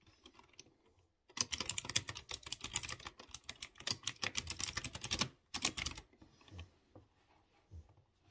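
Fingertips type slowly on a typewriter-style mechanical keyboard with round chrome-rimmed keycaps set on exposed blue switches. After a quiet start, a steady run of crisp, bright, sharp clicks fills about four seconds, followed by a brief pause and a shorter burst. It then trails off into a few soft, scattered taps.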